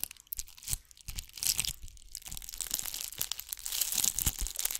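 Long nails scratch a ball covered in bugle beads, held in front of and then beside the microphone. The result is a dense, bright, crackly rasp of tiny clicks and rustles, quieter in bursts at first, then swelling into a steadier, louder scratching toward the end.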